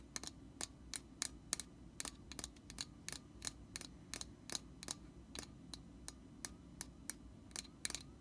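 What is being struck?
Metal aerosol can.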